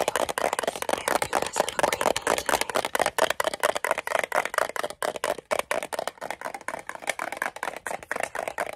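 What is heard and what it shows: Fingernails rapidly tap and click on the sides and edges of a small, rectangular, green-and-white metal Altoids tin, hollow and closed, held in both hands. The result is a fast, irregular stream of dry, clicky taps with a tinny midrange ring around 730 Hz and a bright edge, almost no low end, and each hit dies away almost instantly.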